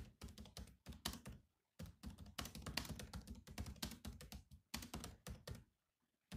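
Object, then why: Plastic laptop keyboard keys. Fingertips type fast on the black plastic keys of a silver laptop, producing a rapid run of short, dry key taps with low thunky bodies and bright clicky tops. The bursts of typing break for brief pauses partway through and near the end.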